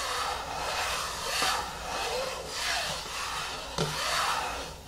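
Long fingernails slowly scratch and rub the top of the screw lid on a medium yellow plastic hair-mask jar resting on a wooden table. The scratching comes as a steady, bright, hissy rasp that swells and fades in slow strokes, and two sharp taps stand out near the middle and the end.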